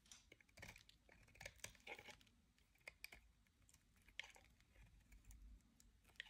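A utility-knife blade carves and scrapes shavings off the end of a solid, dry, hand-sized white oval bar of soap held in the hand. Quiet, crisp scratching and brittle crackling ticks sound in irregular bursts, mostly bright and high with a faint low rumble underneath.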